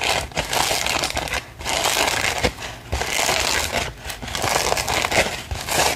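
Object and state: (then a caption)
Paper gift bag. Long pink nails scratch and tap the surface of an empty-looking, medium-size pink glitter-printed paper gift bag with ribbon handles. The result is bright, crinkly paper scratching and crackling in sustained bursts, with brief quiet gaps between strokes.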